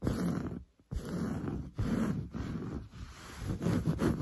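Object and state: Woven fabric sofa upholstery being scratched.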